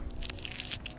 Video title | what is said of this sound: MENANAM KANGKUNG SECARA ORGANIK, PANEN DALAM 25 HARI | kangkung organik jadi gini ada bunyinya keras